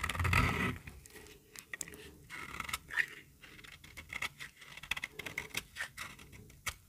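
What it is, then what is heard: Very dry bar soap being shaved. A small, solid, pink bar of dry soap is held in the hand and shaved along its edge with a metal utility-knife blade. A louder, rough scraping burst opens the clip, followed by a steady run of short, crisp, bright scraping strokes as thin curls are cut away.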